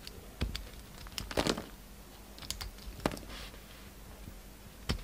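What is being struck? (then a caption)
Bar of soap. A yellow utility knife shaves away the purple rim and outer layer of a solid pink soap bar, scraping and cutting into it. Short, crisp, bright clicks and scrapes stand out over a quiet, steady low hum, with a denser rasping burst early on. The cuts die away almost instantly.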